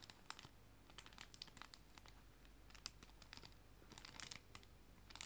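A clear plastic cello bag holding paper art prints is crinkled with fingertips and nails. A quiet, irregular stream of sharp, bright crackles and snaps sits over a faint, steady low hum, each crackle stopping almost instantly.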